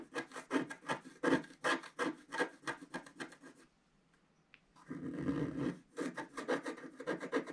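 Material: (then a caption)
Coated card. A wooden stylus rubs and scratches densely over the flowers on a flat black-coated scratch art card in continuous strokes. Quick, rhythmic, raspy scraping bursts repeat at about 160 per minute, with a short, nearly silent pause near the middle before the scratching resumes.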